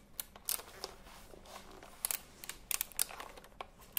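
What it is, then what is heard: Retro typewriter-style keyboard with round plastic keys. Fingertips tap and press the round plastic keycaps of a retro typewriter-style computer keyboard held diagonally. Quiet, bright, dry clicks come at irregular intervals, some in quick pairs, each dying out instantly over a soft, steady hiss.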